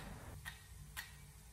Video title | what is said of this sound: 潮汕反沙芋頭，只需掌握這幾步，從不下廚的人也會做，先收藏了，【天天相見廚房】，#芋頭食譜，#芋頭料理，#芋頭做法，#美食，#chinesefood，Chaozhou Reverse Sand Taro | ลองฟังดูแล้ว จะได้ยินว่าเส้นเผือกกรอบมาก